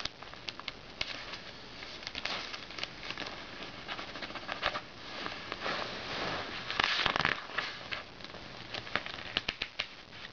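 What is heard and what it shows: Fingertips tap, rub and scratch the coated pages of an open glossy paper magazine lying on a red blanket, and the hands turn its pages. Quick, bright, papery taps and crackly scratches come in an irregular patter over a soft rustle, with a louder swishing burst of paper around the seven-second mark.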